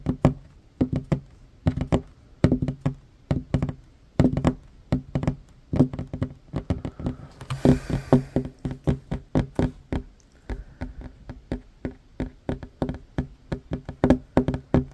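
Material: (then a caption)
Wood. Fingertips and short nails tap fast on a solid wooden tabletop, making about sixty quick, dry knocks in uneven bursts. Each tap is low and hollow with a woody tone near 250 Hz and dies away almost at once, with a brief brighter scrape partway through.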